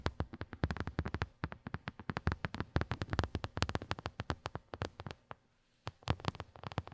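Long glittery nails on both hands quickly tap and scratch a small white silicone phone case with raised square bumps, a hollow shell lying on carpet. The result is a fast, dense run of short, dull, low-heavy clicks and thuds with very little ring and a bright scratchy edge. There is a brief pause near the end before the tapping resumes.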